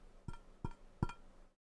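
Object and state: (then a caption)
Metal frying pan tapped with a finger, muted. An old metal frying pan is tapped three times with a finger. Each tap is a short, dull, muted thud centered low, around 125 Hz, with very little ring. It sounds much more muted than when the pan is struck with a metal utensil.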